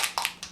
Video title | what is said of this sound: What NOT to do with Distress Paint! | you can hear there's a little ball in there so I was shaking it